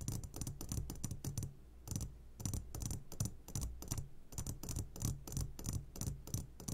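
Fingertips tap on the sides of an upside-down clear glass jar full of hard candies. A quick, uneven series of short taps gives dry, bright clicks over a soft low thump, with almost no ring after each touch.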